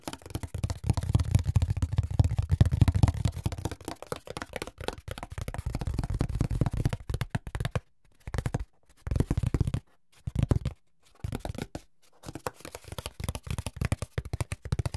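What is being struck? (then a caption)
Corrugated cardboard sheet. A flat brown corrugated cardboard sheet, held above an open white box, is scratched and tapped along its ribs with fingertips and nails, and its edge is handled. Dense, low, dull tapping and scraping sounds come in bursts, separated by brief silences in the second half.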